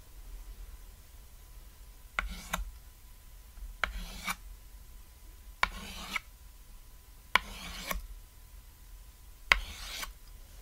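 A stick of white chalk held in fingertips writes text across a flat, solid, cat-shaped black chalkboard, about lap-sized, lying on red fabric. Five separate writing strokes are heard, each starting with a sharp tap of the chalk tip and trailing into a short, bright, scratchy rasp, with quiet low hum between them.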